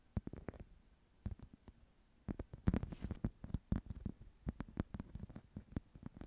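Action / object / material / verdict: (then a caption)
scrape / woven wicker or rattan clutch / wicker / none. A small flat woven wicker clutch held in both hands is scratched with long nails, producing quiet, dry, rapid ticks and scrapes that come in short clusters and then a denser stretch. The sound is soft and low-heavy, with each tick dying away almost instantly and no ring.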